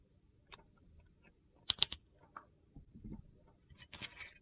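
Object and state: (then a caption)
Glycerin bar soap. A metal utility knife blade cuts and shaves the edge of a hand-sized, solid translucent glycerin soap bar with purple and teal chunks. The result is a series of sharp, crisp clicks and short, crackly, high-pitched scraping bursts, with quiet pauses between them.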